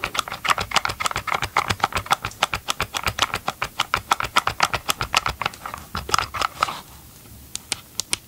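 Nitrile-gloved fingertips rapidly tap the hollow, hard plastic motor housing of a large green and grey Ryobi cordless chainsaw held upright beside the mic. The result is a fast, slightly uneven patter of about fifty dry, clicky taps, centred around 1 kHz with bright high edges and almost no ring. Near the end the taps thin out into a few soft, sparse hits.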